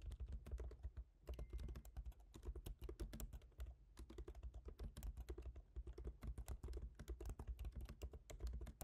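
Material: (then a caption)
Plastic. Both hands type with the fingertips on a MacBook Pro keyboard, black plastic keycaps set in a silver aluminum body. Rapid, dry, short clicky taps run nonstop over a steady low hum.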